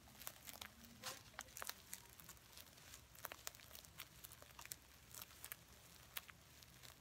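Fingers and nails rub and scratch a small stuffed heart pillow covered in red reversible sequins. The result is a quiet, steady stream of bright, crisp crinkling and scratchy ticks as the sequins flip and click, with dry, short sounds that don't ring out.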